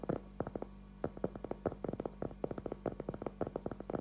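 A round, flat cork trivet board about 20 cm across, thin and solid, is held upright in both hands and tapped and scratched with fingertips and short nails. It gives a quick, uneven run of soft, dull, hollow knocks centered in the low mids, each dying almost instantly, with brushy scratching between them and no bright edge. A faint steady low hum sits underneath throughout.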